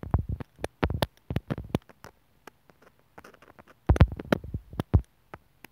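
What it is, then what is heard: Plastic earphone inline mic remote. A steel sewing needle taps and scratches at the mic hole of a small white hollow plastic inline microphone remote on a white earphone cable, lying on a wooden table. Dry, close, thumpy clicks with very short decay come in quick bursts, then fade to faint sparse scratching before a louder cluster of taps returns.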